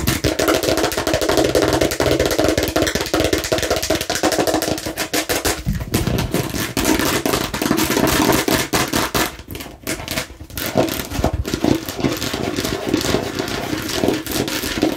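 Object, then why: Hard plastic watermelon-slice container. Long nails rapidly tap and scratch a hollow, hand-sized hard plastic watermelon-slice container, working in close along its edge. The result is a dense, continuous stream of sharp clicks and scrapes over a hollow plastic resonance. The sound thins briefly near the middle before the quick tapping picks back up.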